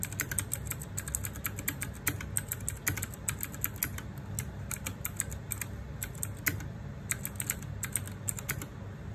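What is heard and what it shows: Fingertips and nails type rapidly on the plastic keycaps of a small RGB-backlit 60% mechanical keyboard. A dense stream of sharp, bright plastic clicks and clacks rises over a low rumble, with each keystroke dying away almost instantly.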